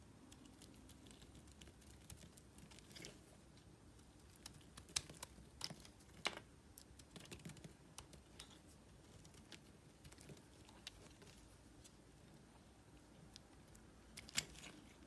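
A solid green, palm-sized bar of soap is held in the hand and shaved with a small metal blade, piling up green flakes. Quiet, scattered, crisp scraping ticks and short bright snaps sound over a soft low background hum, with a few sharper cuts standing out.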